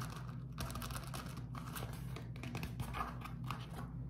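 A beeswax-coated cotton food wrap is pinched and crumpled, then rubbed with fingertips. Quick bursts of soft, papery crinkling and crackling come and go over a steady low hum, with brief bright rustles throughout.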